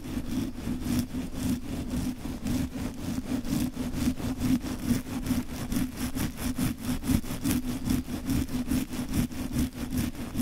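A dark, fluffy synthetic-hair wig or fur windscreen covering a microphone is scratched and rubbed vigorously with the fingertips of both hands. The result is a fast, uneven stream of rough, brushing scratches over a steady low, muffled rumble centered around 230 Hz, staying close and continuous throughout.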